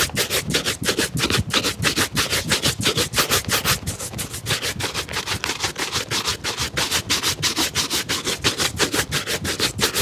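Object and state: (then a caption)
Leather shoe being brushed. An empty black leather lace-up shoe, held in the hand, is vigorously brushed with a wooden-backed bristle shoe brush. The quick back-and-forth strokes repeat at about three per second, giving a steady, bright, scratchy swish throughout.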